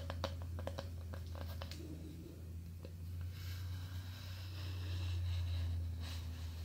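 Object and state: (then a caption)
Thin wooden board. Long painted nails tap quickly across a small, thin, solid square of light-coloured plywood or balsa-like wood held in both hands, making short dry knocks around 555 Hz. The tapping gives way to softer scratching across the board's surface, over a steady low hum.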